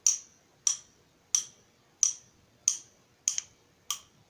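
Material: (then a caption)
Steel. A hand-held nut driver with a long steel shaft and a yellow plastic handle is tapped on its shaft by the steel shaft of a second nut driver. Eight bright metallic ticks ring and fade quickly, mostly about 0.6 seconds apart, with one quick double tap near the end.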